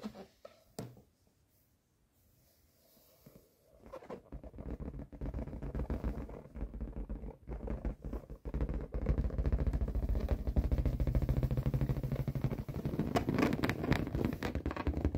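Fingertips and a palm rub and tap the surface of a large, inflated yellow latex balloon, hollow and air-filled. After a few soft taps in near silence, a dense, low, rumbling rub and squeak builds in from about four seconds and grows louder and steadier from about nine seconds to the end. Short dull taps punctuate it throughout.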